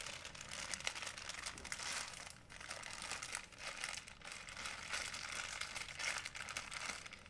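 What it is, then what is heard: Plastic shopping bag. An empty, folded white plastic shopping bag is squeezed and crinkled with the fingers. It makes a steady, dense, bright crackling rustle that is almost all high-pitched, with very little low end. The crinkling eases briefly a couple of times, then picks back up and continues to the end.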